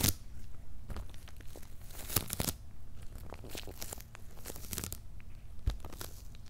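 Fingertips and short nails scratch and tap the paper labels on top of a medium, closed, hollow corrugated cardboard shipping box. A steady run of dry, papery scratching and crinkling is broken by sharper taps. A low, hollow thump from the box sits under the bright scrape.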